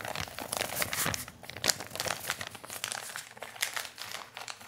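A flat, empty brown kraft paper bag is crumpled and rubbed with fingertips close to the microphone. The result is a steady stream of bright, crisp crinkling and rustling, with sharp crackles and dry papery swells but almost no low end.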